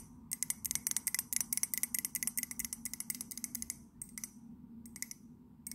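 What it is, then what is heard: Ceramic mug tapped with nails. Long nails tap rapidly on the outer wall of an empty white ceramic mug with a London landmark print. The taps are sharp, bright clicks with almost no ring, coming in a quick, uneven flurry for about four seconds. After a short pause, a few sparser taps follow.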